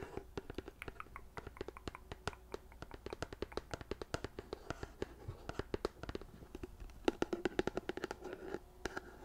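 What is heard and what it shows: A large white plastic lotion pump bottle, held in both hands, is tapped and scratched with long nails along its sides. A quiet, rapid string of short, dry taps with a hollow low-mid tone mixes with soft scratching, each tap dying away at once. The tapping grows a little louder and denser toward the end.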